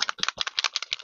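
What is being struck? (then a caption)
Spray ink bottle with mixing ball. A bottle of pigmented water-based spray ink (Perfect Pearls type) is shaken, and a small mixing ball inside it rattles in quick, bright clicks. About six separate rattles are heard in a second, crisp and high-pitched with almost no ring.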